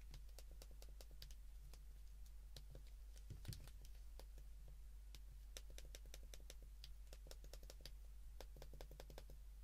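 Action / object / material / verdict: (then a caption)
tap / plastic flip phone keypad buttons / plastic / none. A white plastic flip phone, held in the hands, has its keypad buttons pressed with the thumb and fingertips. The result is a quiet, steady run of short, bright clicks over a constant low hum, with one slightly louder knock partway through.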